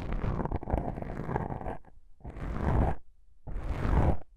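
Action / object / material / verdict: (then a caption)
scrape / foam microphone windscreen / foam / none. Long pink-painted nails scratch and rub two small, soft, porous black foam windscreen covers on a binaural microphone. A dense, rumbly scraping runs for nearly two seconds, then gives way to two shorter bursts of muffled scratching separated by quiet gaps. The sound is heavy in deep low-end rumble with a soft, crackly texture.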